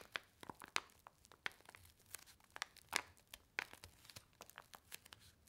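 A single small, flat, red paper-and-foil laminated instant soup sachet with printed instructions, filled with dry powder, is held in both hands and squeezed and crinkled with the fingertips and long white nails. The result is a quiet, irregular series of sharp, bright crinkles and crackles with almost no low end, each snap dying away instantly.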